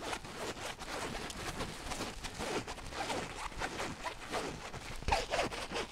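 Long nails scratch the fabric surface of a flat, empty-looking teal zippered pouch with a rainbow print. The result is a steady, dense, raspy scratching with a bright, hissy texture and quick rhythmic strokes, growing slightly sharper and louder near the end.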